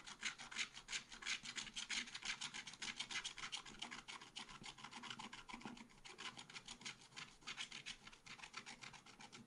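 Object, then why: Coated scratch art paper scraped with a wooden stylus. A wooden stylus scrapes dense strokes into a black-coated scratch art paper page in a small spiral pad. The result is a steady run of quick, dry, raspy scratches that sound bright and thin with almost no low end, easing slightly in loudness toward the end.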